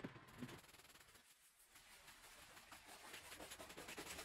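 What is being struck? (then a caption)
Woven rug scrubbed with a brush. A gloved hand scrubs a small, wet, fringed woven rug covered in foam on the floor with a handheld brush, making rhythmic, bristly scrubbing strokes. The wet, hissy scraping is bright and broadband, with a brief quieter pause near the middle before the strokes pick up again.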